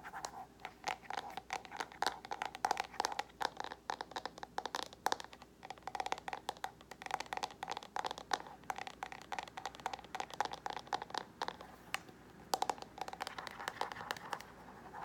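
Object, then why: Hard plastic paddle hairbrush back. Fingernails scratch and tap the glossy, floral-printed hard plastic back of a paddle hairbrush held in both hands. The result is a quiet, continuous stream of crisp, dry clicks and scratchy strokes with a hollow mid-range tone and bright ticking edges. Each sound stops instantly, with no ring.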